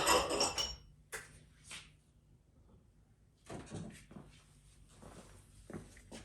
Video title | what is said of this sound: Ford C6 Rebuild, Part 2: Final Assembly | once you hear that solid thud, you know it's more or less all the way seated.